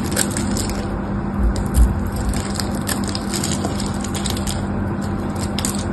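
A metal blade cuts scored cubes off one end of a solid pink bar of soap, giving a steady run of crisp, crunchy crackles with bright ticks. Two duller low thumps stand out near the start, over a constant low hum.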